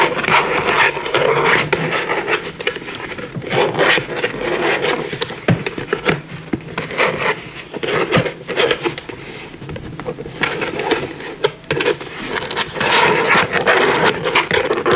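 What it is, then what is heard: Plastic puzzle lampshade. Fingertips and nails scratch and rub the curved edges of thin interlocking blue and white plastic panels on a large, lit, hollow spherical puzzle lampshade. The result is a dense, continuous scratching and rasping texture with many quick clicky ticks and a bright, hissy top.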